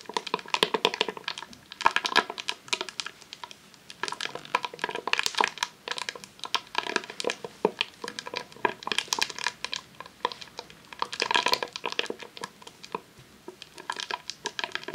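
A long roll of vinyl adhesive sheet in a clear plastic sleeve, resting on a tablecloth, is rapidly tapped with long nails. The result is a dense run of quick, dry, crinkly clicks with bright plastic rustle and no low end, coming in uneven bursts.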